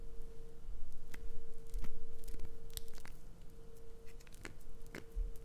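Long acrylic nails scrape and scratch the carved surface of a solid green glycerin soap bar held in the palm. The result is a quiet run of short, crisp scratchy clicks and bright rasps at an uneven pace, over a steady low hum.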